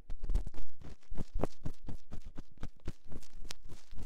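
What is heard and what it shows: A metal ear-pick scratches inside the canal of a silicone binaural microphone ear, making a rapid series of close, dry scraping strokes. Each stroke is a short broadband burst with a heavy, muffled low end and faint bright edges, fading quickly between strokes.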